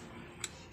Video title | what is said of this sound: Lagutok at ingay sa Pang Gilid ng Beat Paano i Solved. | ito yung naging reason niya guys, bakit siya maingay. Ayan sobra siyang luwag